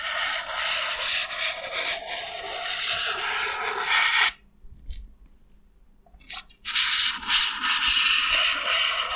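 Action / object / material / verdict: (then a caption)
scrape / expanded polystyrene foam block / polystyrene foam / none. An elongated, solid slab of white expanded polystyrene foam is held in one hand while fingertips and nails rub and scratch along its top. This makes a bright, hissy, squeaky scraping that runs steadily for about four seconds. It drops to near silence for roughly two seconds, then resumes just as strongly until the end.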